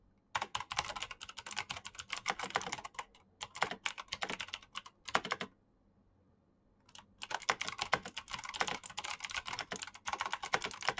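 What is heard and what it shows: Fingertips type fast on a black Razer mechanical keyboard with plastic keycaps and clicky green switches, giving a dense run of sharp, bright clacks. The typing comes in bursts, pauses into near silence for about a second and a half just before the seven-second mark, then resumes at the same quick pace to the end.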